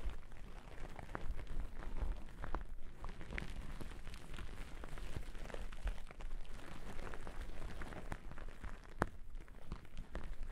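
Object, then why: Cotton terry towel. Two wooden-backed bristle brushes are brushed and scratched across a thick white cotton terry cloth towel draped over the microphone. The result is a steady, dense, low, muffled rumbling scrape with occasional sharper crackling ticks throughout.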